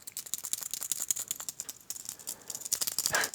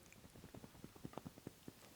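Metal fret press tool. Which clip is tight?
The second.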